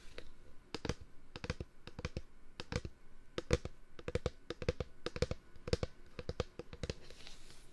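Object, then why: Plastic wipes container. A plastic disinfectant-wipes container is tapped in a quick, uneven series of light strikes. Each tap is a short, dry click with a hollow low thump underneath and dies away almost instantly, leaving no ring between hits.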